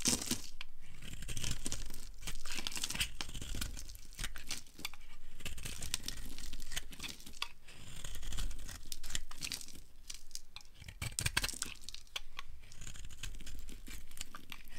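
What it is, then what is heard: Dry soap bar being shaved. A metal blade shaves a solid white rectangular bar of dry soap held in the hand into flakes. The scraping and carving make a steady run of crisp, crumbly tearing and crunching sounds, with bright crackles over a low, rough rasp. Each stroke breaks off flakes with a dry, quickly fading crunch.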